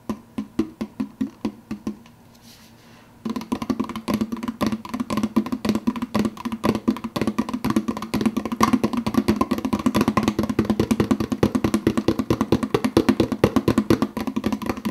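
Fingertips tap quickly on the clear plastic lid of a large, empty, hollow plastic soda cup. Separate, even taps give way to a brief pause, then a dense, fast run of short, dry, hollow clicks with a mid-pitched tone. Each tap dies away almost instantly.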